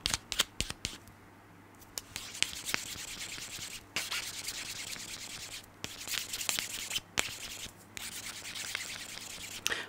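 A small rectangular foam nail buffer block with pink, green and white abrasive sides is held close to the microphone. Fingernails scratch and rub its rough surface, making bright, hissy sanding strokes broken by sharp clicks and short pauses.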